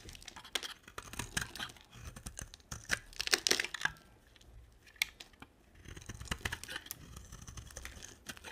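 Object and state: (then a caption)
Dry soap bar being carved. A hand-sized, solid green bar of dry soap is held in one hand and shaved with a box-cutter blade in rapid scraping, carving strokes that shed curly flakes. The result is a crisp, bright, dry scratching and crinkling in quick bursts, loudest in the middle and briefly quieter before the strokes pick up again.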